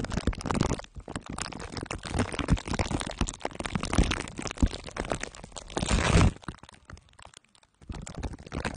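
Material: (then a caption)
Aluminium foil. Two glue sticks are dabbed and rubbed on the top and sides of a microphone head wrapped in crumpled aluminium foil under clear plastic wrap. The result is a dense, sticky crinkling and crackling with a heavy low thump underneath. It builds to a loud, bright rubbing burst just before the 6-second mark, drops to near silence, then resumes softly.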